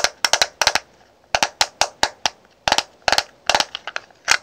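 A small clear plastic highlighter compact with powder inside is held in the hand while long nails tap its lid and snap it open and shut. Sharp, bright plastic clicks come in quick clusters, each dying away almost at once, with short quiet gaps between the bursts.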